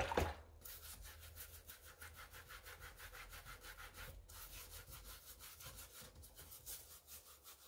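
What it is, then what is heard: Rubber/foam sneaker sole being scrubbed. A wooden-handled brush scrubs the wet white rubber/foam sole of an empty light pink mesh tennis sneaker, held in a pink rubber-gloved hand over a basin of soapy water. Quick, steady back-and-forth strokes produce a rhythmic, bright bristly rasp over a faint low hum, with a short louder bump at the start.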